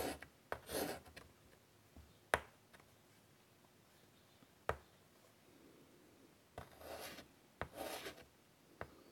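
White chalk held in the fingers draws a flower on a large, flat chalkboard set in a wooden frame. Soft, scratchy rubbing strokes alternate with short, sharp taps of chalk against the board, separated by quiet pauses. The strokes have a dry, bright texture and little low end.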